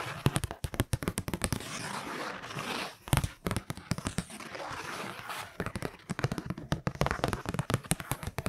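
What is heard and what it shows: Long nails scrape and tap along a kraft-paper Christmas card held close to the mic, producing rapid dry scratches and clicks. These are broken by longer stretches of soft, rasping hiss around the middle and latter parts.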